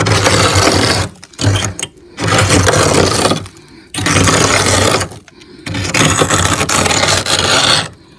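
A hand with painted nails scrapes a metal spoon across the solid frost ice coating a freezer's wall and ceiling. Long, harsh, gritty scraping bursts fill the whole frequency range, broken by brief quiet pauses between strokes.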